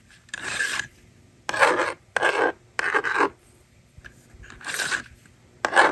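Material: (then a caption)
Plastic. A yellow plastic stylus scratches numbers onto a handheld plastic toy magnetic drawing board, and the slider is used to erase it. The result is a series of short, dry, rasping scrape strokes with a bright, gritty texture, separated by quiet pauses.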